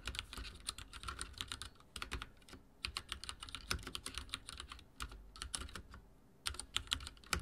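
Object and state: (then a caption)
Plastic mechanical keyboard being typed on. Fingertips of both hands type rapidly on a full-size backlit mechanical keyboard with dark plastic keycaps and linear switches, resting on a wooden desk. Bursts of quick, bright clacking keystrokes with a low thud underneath are broken by brief pauses. Each press stops almost instantly with no lingering ring.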